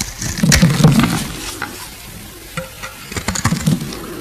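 A solid oval green bar of soap, held in the fingers, is scraped and shaved with a metal box-cutter blade. Rough, crackly scraping bursts with a heavy low body come in two clusters, near the start and again toward the end, with quieter faint scratching between them.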